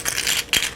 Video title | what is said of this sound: [이현맘의 채식요리 레시피] 63회 채식 육개장 | 바삭바삭 소리 들리나요 무슨 칩 같은 소리